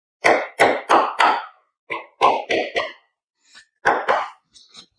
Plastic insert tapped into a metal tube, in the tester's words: you can hear it by the sound that it's all nicely in